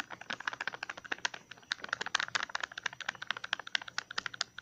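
A small, hollow green plastic tub with a ridged lid is held in the hand and tapped and scratched with fingertips and nails on its lid and rim. It makes a rapid, uneven stream of dry, bright clicks and light scratches, centered around 1.6 kHz. Each click stops at once with no ring.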